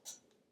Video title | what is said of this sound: Thursday - Preschool Circle Time - Oceans (6/17) | it sounds a little bit hard almost like a rock